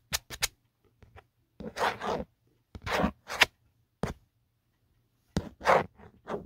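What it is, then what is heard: Plastic phone case. A fingertip and nail scratch the textured plastic back of an empty black Otterbox phone case near the embossed logo. Short, dry scraping bursts come in irregular clusters, some quick and clicky and others longer rasping strokes, with bright high content and silence between them.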